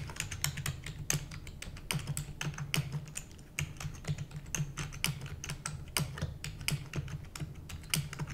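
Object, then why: Plastic computer keyboard. Long nails and fingertips of both hands rapidly type on a full-size black plastic computer keyboard with hollow keys. The result is a fast, uneven stream of sharp, bright clicks and clacks over a steady low hum, with a brief quieter pause partway through.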